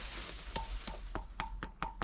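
Seven taps on a concrete gate pillar that looks like stone, each a short, sharp knock with a brief ringing tone near 900 Hz that fades almost at once. The pillar sounds hollow.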